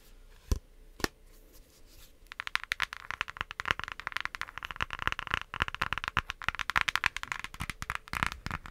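Long nails tap and scratch the cover of a pink cardboard eyeshadow palette with pressed shadows, shown open and then closed. Two separate sharp taps come first, then from about two seconds in a dense run of rapid, dry clicks and scratches. The scratching has a bright, papery character and no ring.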